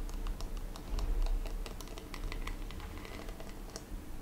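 Long red-painted fingernails tap and scratch the textured back of a blue glittery plastic hairbrush held in hand. The result is a fast, irregular stream of sharp, bright clicks over a steady low rumble.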